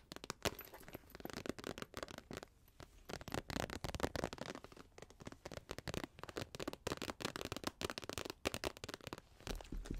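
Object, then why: Plastic foil pouch. An empty, medium-sized iridescent holographic plastic or foil pouch is held in both hands and crinkled, squeezed and tapped with long acrylic nails close to the microphone. The sound is dense, crisp crinkling and crackling, full of sharp clicks and taps with no ring.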